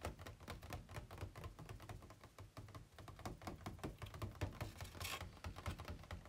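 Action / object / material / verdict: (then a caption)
tap / thin ribbed plastic packaging tray / plastic / none. Fingertips and nails tap rapidly on an empty, hollow, ribbed white plastic packaging insert tray held upright and then tilted on a bed. The quiet, steady run of short clicking taps carries a dull, hollow low thump, with a brief bright hiss near the end.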